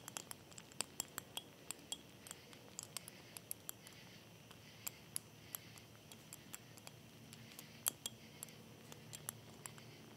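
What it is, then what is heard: Glass beer bottle. A standard-size brown glass beer bottle with a label is held upright in one hand and tapped with the fingertips of the other, with a ring possibly clinking against the glass. Dozens of quiet, sharp, bright taps and clinks come irregularly over about ten seconds, each dying away almost instantly. A faint low murmur sits underneath.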